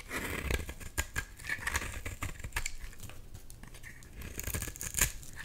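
A solid blue bar of soap held in the hand is scraped and shaved with a box-cutter blade, making crumbly shavings. Quick dry scratches and crisp, crackly scrapes come in uneven bursts with bright edges over a low rumble.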